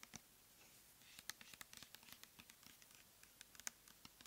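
Long nails tap and scratch the label and body of a clear plastic pump bottle filled with cleansing gel, held in the hands. The result is a quiet, uneven run of sharp, bright clicks and light scratches with almost no low end. Each tap dies away instantly.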